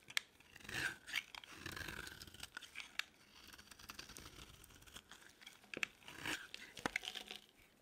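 A metal utility blade shaves and scrapes flakes off the edge of a solid pink bar of dry soap held in the palm. Quiet, crisp, crunchy scraping strokes with a bright, papery rasp come in short bursts and longer drawn-out shaves, with sharp little clicks between them.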